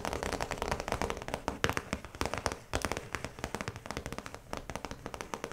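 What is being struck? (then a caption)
Plastic zip pouch. Long pointed nails tap and scratch on the clear plastic face of a round zip pouch with yellow trim lying flat. A rapid, uneven run of crisp clicks and crackly scrapes comes through, each tap dry and short with almost no ring, carrying a mid-pitched plasticky body and a bright edge.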